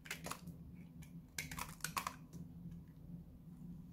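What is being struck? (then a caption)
Bar of soap cut with a blade. A small, solid, dried-out blue Lux soap bar is held in one hand while a utility knife blade scrapes and cuts flakes off it, and the shavings pile up below. Bursts of dry, bright scraping and crisp cuts sound in short clusters over a steady low hum. Other soap boxes sit in the background.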